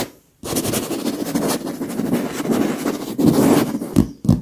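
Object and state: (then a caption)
Leather pillow. Both lace-gloved hands with long nails tap quickly with their fingertips on a large, soft, filled white leather pillow. After a brief silence, a dense, continuous patter of soft, muffled taps starts, briefly dipping before picking up again. The sound ends with a couple of more separate, heavier pats.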